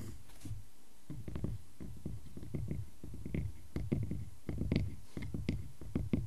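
Fingertips of both hands tap and scratch the face of a solid round wooden log slice with growth rings, using short nails. Soft, low, dull knocks land in quick irregular clusters, with faint brighter scratchy ticks between them, each tap dying away almost at once.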